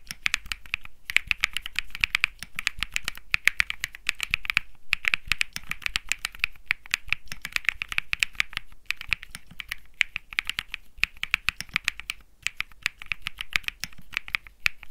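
Fingertips type steadily on a compact Think 6.5 mechanical keyboard with an aluminum case, PC plate, plastic keycaps and Bsun Lollipop switches. The rapid keystrokes make crisp, bright clacks centered around 2 kHz, each dying away almost instantly, with brief pauses between bursts of typing.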